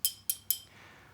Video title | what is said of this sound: POGO: Is This 63-Year-Old Problem Threatening Starship's Success? | tap on the side of it, the sound you're hearing represents its natural frequency